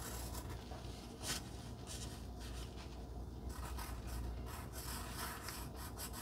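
A wooden pencil point rubs and scratches over a flat pink cardstock heart resting on dark fabric while writing and drawing a small heart on it. The sound is a quiet, steady papery scratching with brief brighter strokes, one sharper scrape standing out early, over a low background hum.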